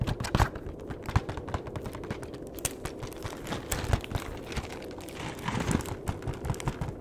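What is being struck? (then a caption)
Flat cardboard box. Fingertips tap on the back of a flat cardboard chocolate box, then along its long edge. The result is a steady stream of quick, dull, low-pitched taps that die away almost instantly, with a few sharper accents and almost no bright sound.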